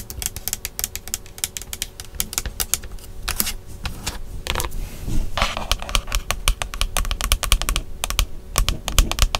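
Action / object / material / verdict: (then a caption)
tap / plastic steering wheel airbag cover / plastic / none. Long nails quickly tap and scratch the hollow, molded black plastic airbag cover in the center of a Tesla steering wheel. Dense runs of sharp, dry clicks with bright edges and almost no ring sit over a steady low hum, with a brief scratchy swish in the middle.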